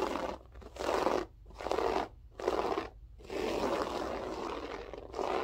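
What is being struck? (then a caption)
Loop-pile carpet. Long nails scratch quickly with both hands across a grey loop-pile berber carpet floor, making a dry, broadband crunchy scraping. Bursts of scratching come in uneven waves with brief quieter gaps between them, and the last stretch runs more continuously.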